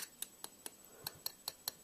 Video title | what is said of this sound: WWE Elite Series 29 Erick Rowan Review | you can hear that sound that's audiable that it's Hollow